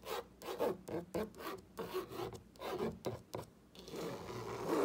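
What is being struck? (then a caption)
Painted wooden plank sign. A fingertip with a short painted nail traces and scratches along the printed letters of a whitewashed wooden plank wall sign, a flat solid panel reading "grateful hearts gather here." About a dozen short, dry rubbing strokes are heard, then one longer continuous scrape that builds in loudness toward the end.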